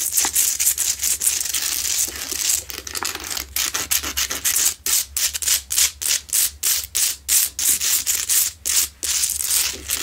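Long nails scratch and tap the sides of a lit, medium, solid Himalayan salt rock lamp with a rough crystal surface. The sound is a bright, hissy rasp, steady at first, then it breaks into quick rhythmic strokes with short gaps between them.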